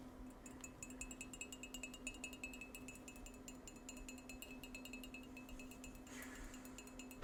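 Fingers tap rapidly and continuously on a Wicked-themed ceramic coffee mug from Universal Studios, producing quick, bright, glassy clinks that ring briefly around 2.6 kHz. A steady low hum runs underneath the tapping throughout.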